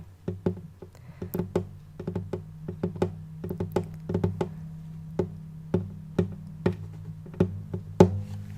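A wooden acoustic guitar is tapped on its wooden body in an irregular series of taps, faster at first and then more spaced out. Each tap is a short, dull, hollow knock with a low body resonance that dies away almost at once.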